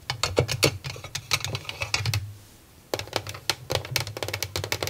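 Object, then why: Small plastic drawer cabinet. Long nails tap rapidly on the top and sides of a small, hollow white plastic mini drawer organizer with nine clear plastic drawers, sitting on a desk. The quick, sharp clicks sound bright and clacky over a hollow low knock, with a brief pause in the middle before the tapping resumes.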